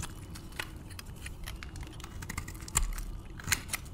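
A metal blade scrapes and shaves strips from the surface of a solid, palm-sized, white bar of varnished dry soap. Dry, crisp clicks and scratchy scrapes repeat irregularly over a low, steady hum. A few louder, brighter snaps stand out toward the end.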